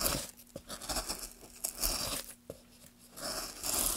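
A metal gouge held in gloved hands carves a solid pine board, lifting curls of wood. Irregular, bright scraping and tearing strokes rise and fade with short dry crackles, with a faint steady low hum beneath.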